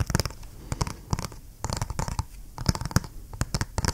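A small, flat, hollow G.Skill DDR5 memory retail box of printed cardboard is held in one hand and tapped and scratched with the fingernails of the other. Quick dry taps and scratchy rasps come in irregular bursts with short gaps, each click dying out almost instantly.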